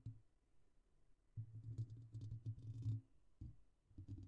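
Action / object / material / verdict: tap / metal wire-mesh microphone grille / metal mesh / none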